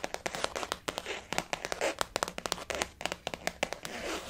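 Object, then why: Faux leather zip wallet. Long fingernails tap quickly on a blue floral-print glossy faux leather zip-around wallet resting on a table. A rapid, uneven run of sharp, clicky taps with a bright, crinkly texture follows, each dying away almost instantly over a soft, crackling bed. The result is quiet and light, with very little low end.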